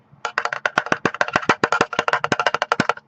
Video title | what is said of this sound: Kingston SSDNow V300 Series Review | SSD that is metal. I mean, it's not cheap plastic.